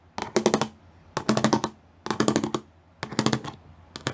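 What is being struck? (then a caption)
Plastic sheet with raised studs. Long nails tap quickly across a gray plastic sheet with raised pyramid studs, making crisp, bright clicking. The taps come in short rapid clusters, separated by brief pauses, with a quiet low hum underneath.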